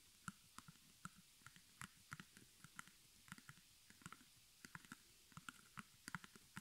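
Long nails tap and scratch the front fabric of a small square white stretched cotton canvas on a wooden frame, hollow behind, embroidered in black with crossed arrows and the letters HOME and held close. About twenty-two short, dry taps each give a soft low thump with a bright click and die away almost at once, spaced irregularly over quiet scratching.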